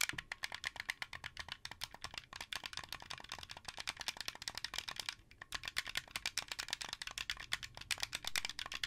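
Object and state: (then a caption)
Plastic game controller. Fingertips and nails rapidly tap and click the buttons and shell of a translucent blue, hollow plastic Xbox 360 controller. The dense stream of dry, bright plastic clicks has almost no ring and little low end, with a brief pause near the five-second mark before the tapping resumes.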